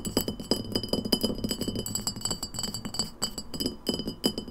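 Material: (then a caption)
Glass. An empty glass lemonade bottle with a paper label, first held sideways and then stood upright, is tapped fast with long nails on its glass neck and shoulders. Rapid, clicky taps run together with short, bright glassy pings and steady high ringing tones over a low, woody knock. Each tap dies away almost at once.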